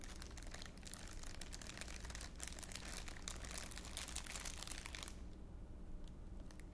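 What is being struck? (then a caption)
Thin clear plastic wrapper crinkled by hand. A thin, clear, empty plastic wrapper is held near the face in both hands and crinkled with the fingers, giving dense, bright crackling for about five seconds. The crackling then thins to a few sparse crinkles, over a steady low hum throughout.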